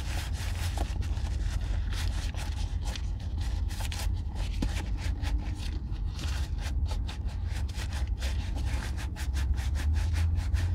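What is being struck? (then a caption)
Oiled leather chukka boot rubbed by a gloved hand. An oiled brown leather Weekender Chukka boot from Red Wing, with a crepe sole, is held hollow and empty in one hand. A black nitrile-gloved hand rubs oil into the leather. Steady soft scraping and rubbing strokes with a low rumble and quick bright scratchy textures carry on throughout.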